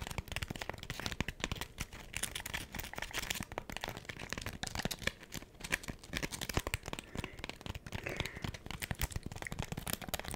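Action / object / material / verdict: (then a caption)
scrape / foam scrub sponge scratched and tapped with fingernails / foam / none. Long acrylic nails scratch and tap a hand-sized smiley-face scrub sponge made of porous pink textured foam with a yellow foam layer. The result is a dense, continuous stream of quick, dry scratchy clicks and crinkly rustles with bright, crisp detail and a soft low thump beneath. It stays fairly even in level throughout.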